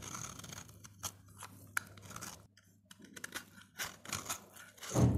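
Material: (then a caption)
Soap. A utility blade scrapes along the surface of a solid, hand-sized dry orange soap bar, shaving off thin slices. Soft, dry scraping and crisp bright ticks come in uneven bursts over a faint low steady hum. A louder, fuller scrape closes the clip.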